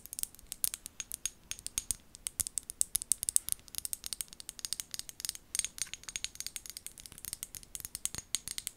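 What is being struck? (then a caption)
Small amber glass bottle with plastic lid. Long gold nails tap and scratch the glass body of a small amber glass bottle with a white plastic lid. A rapid, steady run of about 63 crisp, dry clicks and scrapes is heard, each very short and bright with almost no low end or ring.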